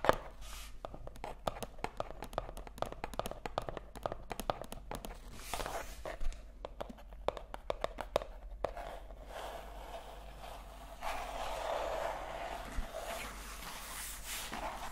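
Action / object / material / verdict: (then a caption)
tap / paperback book paper pages / paper / none. Long acrylic nails tap and scratch on the printed paper pages of a paperback book held open at the author page. A quick run of sharp, dry taps fills the first half, then gives way to a softer, continuous scratching across the paper.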